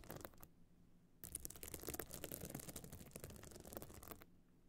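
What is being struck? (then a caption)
Small hard clutch bag covered in glued stone chips. Long nails scratch across a small, hard, pebble-encrusted metal-frame clutch bag covered in glued stone chips and standing open. A few quick dry scratches are followed by a short pause, then about three seconds of dense, rapid, gritty scratching with bright rasping edges. The clip ends in quiet with only a faint low hum.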